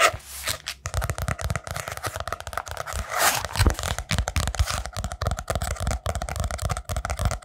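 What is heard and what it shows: A small hand-held spiral-bound notebook with a brown kraft cardboard cover and paper pages is held close and tapped and scratched with fingertips and nails on the cover and page edges. The result is a fast, dense run of dry taps and scratchy rasps with a low thudding body, each very short with no ring.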